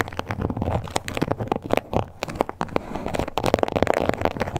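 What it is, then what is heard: Textured leather card holder. Long nail tips scratch and tap the surface of a small pink croc-embossed leather card holder. The result is a busy run of quick, dry clicks and crackly scrapes over a soft low rumble, with each tap cutting off at once.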